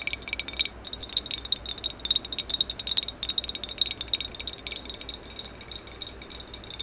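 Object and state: Glossy ceramic vase.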